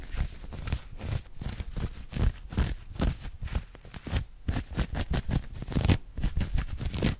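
Fingertips and short nails rapidly scratch and grab an open-weave knit cotton polo shirt across the chest and collar area. The result is a dense run of short, rough scraping and rustling bursts, heavy in low thuds with a thin bright fabric hiss on top.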